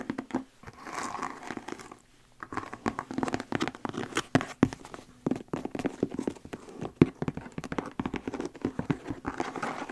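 Long acrylic nails tap and scratch the shaft of a hollow, empty brown and teal tooled leather cowboy boot held up in the air. The result is a dense run of quick, dry taps and crinkly scratches with a hollow low-mid body, broken by a brief quiet pause near two seconds.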